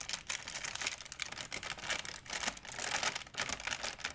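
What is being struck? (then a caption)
Thin plastic shopping bag. A large, empty white plastic shopping bag is stretched and crinkled between both hands. The result is a steady, dense stream of bright, crisp crackling with little low end, swelling and easing in quick bursts over about four seconds.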